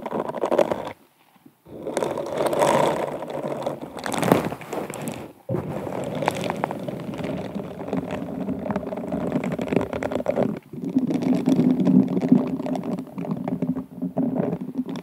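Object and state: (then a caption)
Rhinestone-covered wine glass being scrubbed. An upside-down, hollow, empty stemmed glass wine glass with its bowl covered in sparkly beads and rhinestones, apparently set over a mic, is rubbed and scratched by both hands in pink silicone scrubber gloves with bristles. The result is a dense, continuous crackling, scraping texture in the low-mid range, broken by brief silent pauses near one and five and a half seconds.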